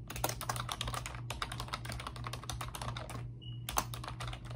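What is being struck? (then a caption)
Plastic computer keyboard keys. Both hands with long pink nails type rapidly on a pink plastic computer keyboard with round, backlit typewriter-style keycaps. It produces a dense stream of sharp, bright clicks and taps that pauses briefly twice. A steady low hum runs underneath, and a short faint tone sounds during the second pause.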